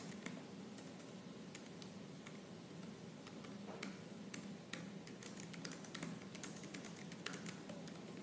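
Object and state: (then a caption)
Laptop plastic keyboard. Fingertips with purple nails type fast and hard on the black plastic keys of a silver laptop keyboard. Quick, bright clicks and taps land over a steady low hum.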